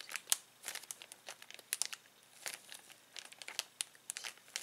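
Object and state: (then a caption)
Plastic bag crinkling. Fingertips grip, rub and crinkle a clear plastic zip bag of toys. A quick, uneven run of crisp, bright crackles and rustles comes in short sharp bursts, with almost no low end. Each burst snaps off almost at once between quiet gaps.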